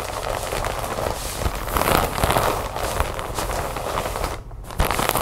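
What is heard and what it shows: Long nails scratch and tap a large clear plastic bag full of cotton balls resting on a wooden table, working over the plastic surface and its label area. The result is a dense, continuous crinkling crackle with quick, dry taps and bright rustling texture, briefly dipping quiet just before the end and then picking up again.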